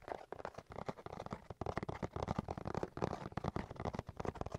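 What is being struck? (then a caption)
Cardboard box. A cardboard box is tapped and scratched in a quick, uneven run of soft, dry hits mixed with scratchy rustle. The sound is quiet and dull, weighted toward low and mid tones with little brightness, and each hit dies away instantly with no ring.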